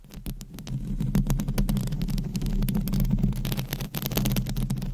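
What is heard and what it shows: Long blue acrylic nails scratch around the hollow metal wire-mesh dome of a microphone head. A dense run of quick scratches rustles over a steady low rumble, with bright crackles flickering on top.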